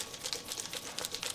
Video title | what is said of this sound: Createx 4030 Balancing Clear Problem! | you can hear a slight bit of liquid moving around inside, but you don't hear that little ball